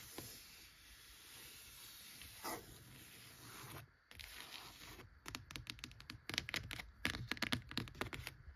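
Long-nailed fingertips scratch and tap a thick, worn, cloth-covered vintage hardcover book lying flat on a shelf, working over its top cover and spine edge. The first few seconds are a soft, continuous, bright scratching rasp. It gives way to a rapid series of sharp, dry taps with short, quickly fading clicks.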